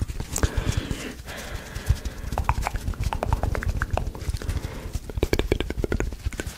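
A small, soft, porous rectangular blue foam sponge is held in both hands in front of a microphone while fingertips squeeze and scratch its surface. The result is a dense run of quick, dull, low thumps and crackles with short, bright scratchy ticks that die away almost at once.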